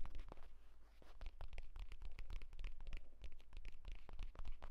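Fingertips and nails rapidly tap and scratch along the surface and stitched spine of a closed purple leather folio tablet case lying flat. The result is a dense run of short, dry, scratchy taps with brief bright rasps, over a steady low hum.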